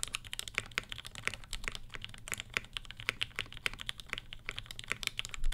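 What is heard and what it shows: Both hands type steadily with their fingertips on a black 75% Satisfaction 75 R1 mechanical keyboard that has ABS plastic keycaps, Gateron Ink switches with Tangie tops and an FR4 plate, resting on a floral desk mat. Rapid, crisp, bright clacks follow one another with short, dry decays over a steady low background rumble.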